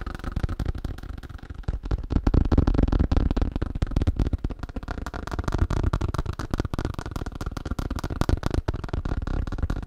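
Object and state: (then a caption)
Thin plastic sheet. Fast tapping on a thin plastic sheet. Rapid, somewhat uneven taps at about four per second make a dull, low, crackly patter with no ringing, holding at a steady level throughout.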